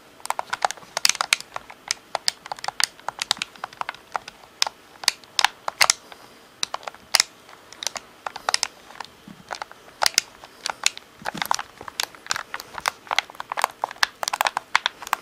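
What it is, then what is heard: Plastic game controller. Fingertips tap the top edge and triggers of a hollow black plastic Xbox controller, its top edge turned toward the camera. The result is a long run of quick, irregular, dry plastic clicks and ticks, bright with no low end and almost no ring after each tap.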